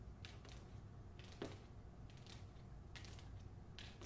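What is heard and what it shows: Long nails tap and scratch the back cover and spine of a closed, paper-covered hardcover copy of "The Hacienda," held first at an angle and then by the spine. Soft, bright scratching bursts come and go over a steady low rumble, with one sharper tap standing out. The sound stays quiet throughout.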